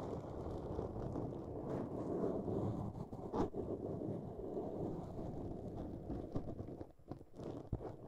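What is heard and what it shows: Long nails on both hands scratch and rub a black foam windscreen on a microphone. The result is a close, muffled, continuous rustle and scrape, weighted in the low-mids with almost no bright content. A few sharper scratches briefly stand out.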